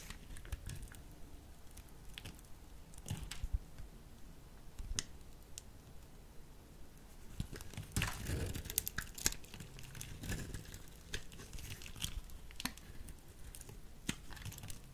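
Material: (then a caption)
Soap. A small metal blade slices and shaves a solid peach soap bar held in the hand. Quiet, crisp scraping and crinkly carving sounds come with short, sharp ticks of the blade, and the cutting grows denser and louder in the middle of the clip.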